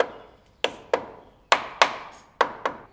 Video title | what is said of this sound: TUTORIEL #02 - Réparation d'une poutre en béton armé | toutes les zones où ça sonne creux c'est là où la poutre est endommagée et c'est là qu'il va falloir démolir